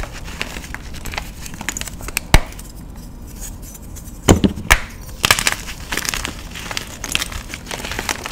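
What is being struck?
Magnesium carbonate gym chalk block.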